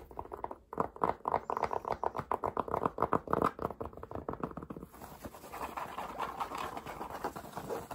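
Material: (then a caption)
Cotton. Fingertips and nails rapidly tap and scratch the brim and front panel of a light green Volcom cotton baseball cap with a woven patch. A fast, uneven run of dry, papery taps centred around 1 kHz fills the first five seconds, then turns into denser, steady brushing scratches with a faint high hiss.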